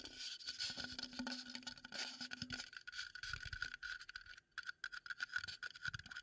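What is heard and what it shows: A wooden bowl is tapped and scraped as an ASMR trigger, giving a dense run of quick, dry taps and scratchy rubbing. The sound is mostly bright, with a steady ringing tone near 1.5 kHz and little low end. Each hit dies away almost at once.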